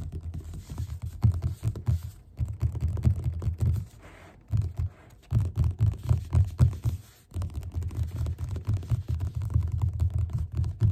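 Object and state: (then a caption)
Paperback book cover tapped with fingertips. Fingertips tap quickly on the cover of a yellow paperback book lying flat. The taps are soft, dull, low thumps with almost no ring, coming in rapid bursts separated by short pauses.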